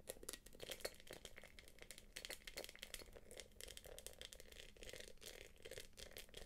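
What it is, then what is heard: Quilted plastic purse. Long nails tap and scratch the quilted top of a small, hollow, light-blue glossy quilted plastic purse, which is then held upright. The result is a dense run of quick, dry clicks and scratchy rattling with a bright, crinkly edge and a hollow mid tone, each hit dying away almost instantly.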